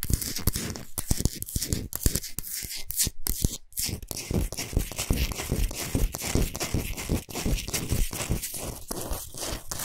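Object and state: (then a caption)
Himalayan salt block. Long nails scratch and tap fast across a large, flat, solid pink Himalayan salt block, making a dense, continuous, dry gritty rasp. Quick tapping clicks run through it, with a bright, hissy edge and a low thumping underneath.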